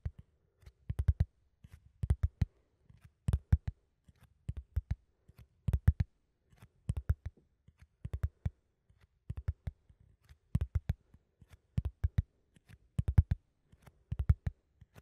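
A flat corrugated cardboard sheet held in front of a microphone is scratched and tapped with fingertips and short nails. The result is a steady run of quick, dry clicking taps in small bursts, with a dull, low body and almost no ring.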